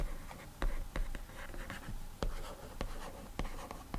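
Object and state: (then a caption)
Fingertip drawing on a glass tablet screen. A single fingertip slides and rubs across the glass touchscreen of an iPad resting on a desk, writing in short, scratchy strokes. The soft, dry rubbing is punctuated by a series of brief, sharp taps as the finger meets the glass.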